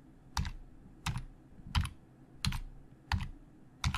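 Slow fingertip typing with both hands on a hollow black plastic Logitech keyboard. Six evenly spaced keystrokes land at a slow pace, each a short clack with a dull, low thump and a bright click that dies away almost at once. Faint background hiss fills the gaps between keys.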